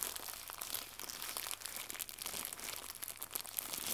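Fingertips with red-painted nails crumple a small white crinkly plastic gift bow, then stretch it flat. The result is a quiet, continuous stream of bright, high crinkling and crackling with no low end.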